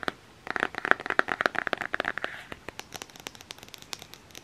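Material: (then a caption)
Cardboard. A flat cardboard eyeshadow palette with a Nightmare Before Christmas print, held in the hands, is tapped and scratched with fingernails. Rapid, irregular dry clicks and scratchy crinkles come out crisp and bright. The first half is busier and louder, with a midrange tone around 1.6 kHz, before easing into lighter, sparser taps.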